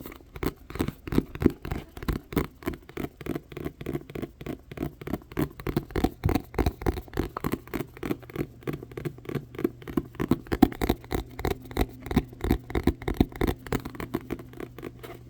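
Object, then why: Paperback book. Continuous, somewhat uneven tapping on a Perfect World paperback manga volume, about three taps per second. Each tap is short and dull, sitting in the low-mids with no ring after it and almost nothing in the highs.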